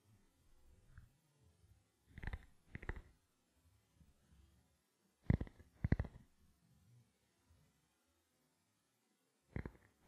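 A small, black, hollow plastic camera lens cap is held in both hands and tapped with the fingertips and nails. Soft, low, hollow taps come in short clusters with quiet gaps between them, and the louder bursts carry brief bright clicks. Each tap dies away almost at once.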